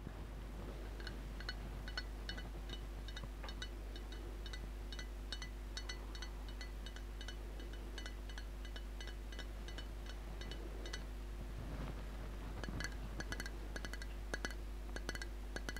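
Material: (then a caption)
Glass. Long nails tap and clink on the side of a large glass jar full of red liquid with settled glitter and a gold lid. Many quick, light clicks with bright, glassy ticks rise over a steady low hum and a faint sustained tone near 250 Hz, growing sharper and louder toward the end.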